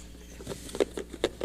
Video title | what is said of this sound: 09-25-21 Talkin Ball with Scott Theisen and Drew DeArmond | it sounds full we are shuffling it up